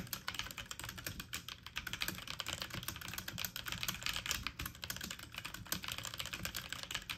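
Fast typing with fingertips and medium nails on a full-size backlit mechanical computer keyboard with plastic keycaps. Quick, bright, clicky taps run in a dense, steady stream, with a faint low hum underneath.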